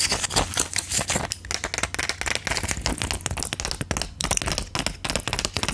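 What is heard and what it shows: Long acrylic nails tap and click on the rows of plastic bubbles of a silver plastic-and-foil pill blister pack held in front of the mic. The result is a dense, rapid stream of sharp, bright clicks and crinkly crackles with very short ring and a faint low hum underneath.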